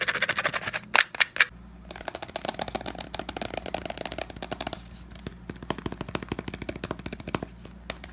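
Fingertips and short nails rapidly tap and scratch a hollow, hand-sized pink cylindrical plastic foot powder bottle (Tenys Pé) with a flat white base. The result is a fast, dense stream of dry, bright clicks and scratchy rasps centered around 2.3 kHz, with a few louder sharp knocks near the one-second mark. Each hit stops almost instantly with no ring.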